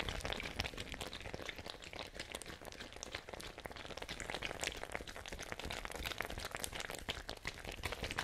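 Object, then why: Fabric ice bag with plastic cap, containing water. A small, hollow, fabric-covered ice bag with a white plastic cap, containing water, is held up and shaken by hand close to the microphones. A steady, dense stream of quick sloshing and crinkly, bright rustles continues without pause, with short taps and no lingering ring.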